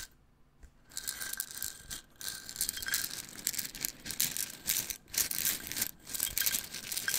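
A small clear plastic jar with a black cap, full of wooden toothpicks, is tapped with fingertips and tilted so the contents rattle. After a near-silent first second, bright, crisp rattling comes in dense bursts with brief pauses between them, almost all high-pitched with very little low end.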